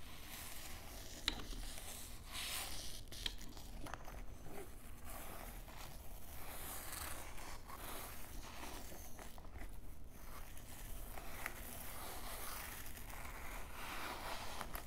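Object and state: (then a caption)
Canvas fanny pack scrubbed with a brush. A wooden shoe brush with bristles is scrubbed across the side of a grey canvas fanny pack that stands on a table, soft and hollow. A steady, quiet scratching rasp with bright, hissy texture runs throughout, swelling and fading with each stroke, with a couple of brief sharper ticks early on.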